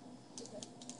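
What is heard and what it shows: Six quick, light taps on the bottom of a baked pâte à choux puff give soft, hollow, dry clicks with brief bright ticks and almost no ring. The hollow sound shows the choux pastry is baked through, checked by tapping rather than pulling it after a fixed time and ending up soggy.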